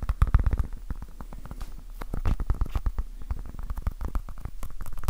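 A small, soft, solid orange foam stress ball with a basketball pattern is held in both hands and tapped quickly with fingertips and nails. The result is a dense, uneven stream of soft, muffled low thuds mixed with faint bright clicky ticks, louder at the start and in bursts toward the end.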